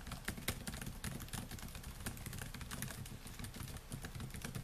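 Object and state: Laptop keyboard with plastic keys.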